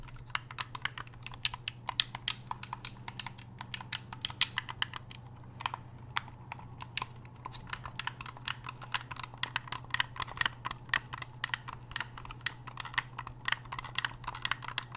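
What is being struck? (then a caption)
Hard-plastic game controller. Fingertips rapidly click the buttons and tap the casing of a hollow, black hard-plastic game controller, making dozens of sharp, dry, bright clicks at an uneven pace. The clicks sit over a steady low hum throughout.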